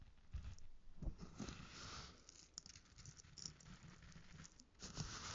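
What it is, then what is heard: Bath salt crystals scrunched in a plastic bowl. Fingertips dig into, scrunch and rub coarse pink bath salt crystals in a small light-green plastic bowl held in one hand. The bowl is partly filled, and the crystals give a dense, gritty patter of bright crackles over soft low thumps.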